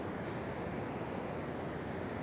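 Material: Nothing is struck.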